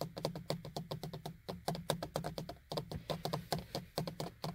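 Fingers and nails knock and tap rapidly on the small, hollow beige plastic vanity mirror frame and cover of a car sun visor. Each hit is a short, dry plastic click with a low body and brief bright edges, dying away almost at once, in quick uneven bursts with short pauses between them.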